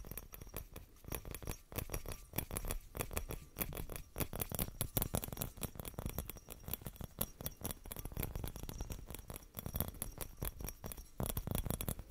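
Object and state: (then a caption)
Glass Christmas bauble. Fingernails tap and scratch a small, hollow, clear glass Christmas bauble ornament with a metal cap. A rapid, steady patter of light, dry clicks and scratches runs throughout, each tap short with almost no ring. Faint bright glassy ticks sit over a soft low thud.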